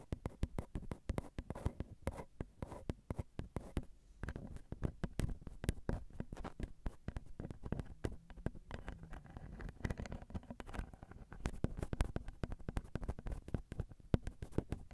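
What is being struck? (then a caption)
Metal mesh microphone grille on a handheld recorder. Long glitter acrylic nails tap steadily on the metal mesh grilles of a Zoom recorder's XY microphone, whose small hollow capsules pick up every touch. The result is a dense, continuous patter of quick, dry, muffled taps that are heavy in low thump and die away instantly, with no voice.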